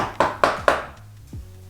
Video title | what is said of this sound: Dining Room Updates ✨ Big transformation and declutter VLOG | when you tap the walls you can hear the old plaster falling down